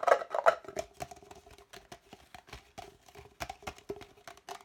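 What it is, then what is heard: Empty hollow plastic cup. An empty, hollow red plastic party cup, held upside down and sideways, is tapped and scratched quickly with the fingertips and nails. Two louder hollow knocks open the clip, followed by a fast, uneven stream of short, dry taps and scratches with a faint hollow tone around 625 Hz and a lower one near 400 Hz.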